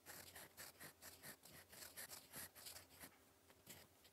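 A gold metal fountain pen nib, held in the fingers, scratches across a flat sheet of lined cream writing paper while writing cursive. About nine quiet, bright, papery scratching strokes come in quick bursts with short pauses between them.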